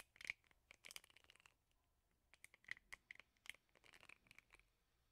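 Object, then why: Plastic hairbrush with rubber bristle pad. Fingernails flick and scratch the plastic bristles of a plastic hairbrush set in a rubber bristle pad. The result is quiet, bright, crisp ticks and scratchy rasps in irregular bursts with brief pauses, each flick dying away almost instantly.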